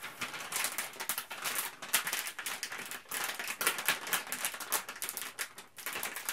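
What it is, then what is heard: Plastic bag being crinkled. A printed plastic Ziploc Zip'n Steam bag is held aloft and scrunched and crinkled by hand. The result is a continuous stream of bright, crackly rustles with quick snapping bursts, almost no low end, and a dry, short decay.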